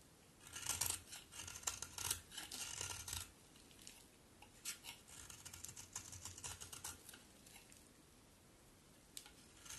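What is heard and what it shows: A solid pink-brown bar of soap, held in the hand, is shaved with a utility knife blade, and curls pile up on the table. Bursts of bright, crisp scraping rasps come in uneven strokes, louder in the first few seconds and then softer, with a last sharp stroke near the end.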